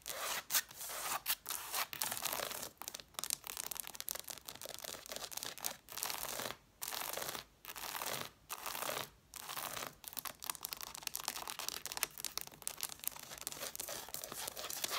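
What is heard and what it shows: Long dark nails rapidly scratch and tap the page edges and red cloth covers of a pile of hardcover books with solid paper blocks, with the hands briefly moving to the top of the stack. The sound is a dense, bright, papery scratching and quick dry tapping with almost no low end, broken by several short pauses.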